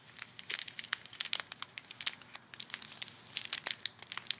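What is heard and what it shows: Both hands squeeze and crinkle a small clear plastic bag full of colorful foam beads, using fingertips and long nails. A quiet, rapid run of sharp, bright crinkling crackles with almost no low end, each snap dying away instantly.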